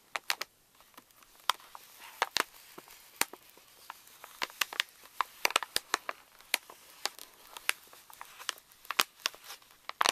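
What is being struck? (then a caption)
Plastic foil laminate pouch. Fingertips and nails tap and scratch the crinkly surface of a pink Reese's candy pouch made of plastic foil laminate, resting on a table. The result is a rapid, irregular stream of dry, sharp crackles and crinkles that are bright and high with almost no low end. Each one stops instantly over a faint rustling bed.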